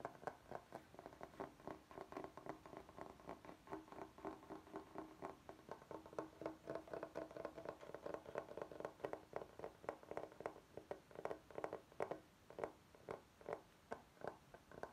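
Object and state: Bamboo cutting board.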